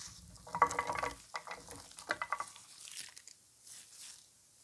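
Hands in blue nitrile gloves gather, squeeze and crumble a loose pile of thin, dry, multicolored soap curls and shavings (orange, white and purple), then press and rub them against a wooden board. Dense, dry crackling and crinkling comes in two main bursts, then fades into softer, brighter rustles.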